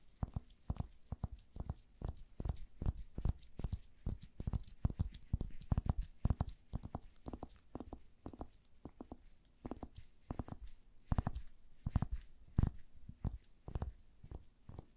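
A wooden paddle hair brush with pin bristles and a solid wood handle is held in gloved hands while fingertips and nails scratch its bristles and wooden body. Quick, dull scratching and tapping strokes follow one another in a steady, uneven rhythm, each short and muffled with a deep, low thud and almost no ring.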